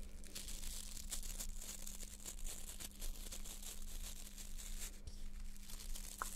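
Long nails scratch and flick the stiff plastic bristles of a small white plastic nail brush held in both hands, with some fast movement. The result is a dense, continuous run of crisp, crackling scratches with a bright hiss on top, over a steady low hum.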